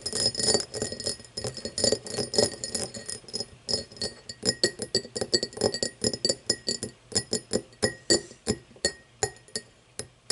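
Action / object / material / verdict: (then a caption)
tap / cut crystal glass tumbler / crystal glass / none. Long painted nails tap and scratch along the top of an empty cut-crystal glass tumbler lying on its side. Bright, glassy clicks and chinks with a brief ring come in quick, overlapping flurries at first, then settle into sparser, more distinct taps toward the end.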